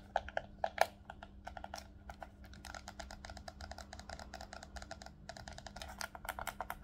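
A hollow black plastic Nintendo Switch Pro controller is held in both hands while fingertips click its triggers and shoulder buttons, then the controller is turned to show its face. Dozens of quick, dry plastic clicks come in an irregular, fast patter, with a few louder snaps near the start, each click sharp and bright and dying away almost instantly over a faint steady low hum.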